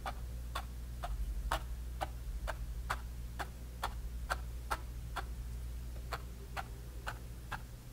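A bristle brush tip stipples grey paint onto a small canvas panel with orange paint, making 16 short, crisp taps at a steady, ticking pace. Each tap is a brief, bright click over a constant low hum.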